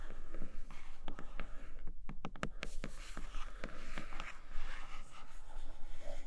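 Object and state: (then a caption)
Cardboard box with plastic window, tapped and scratched. Long acrylic nails tap and scratch across a flat grey cardboard tablet-case retail box with a clear plastic window showing a red leather case inside. Sharp, bright clicks from the tapping are heard over a soft, papery scratching texture and a low steady hum.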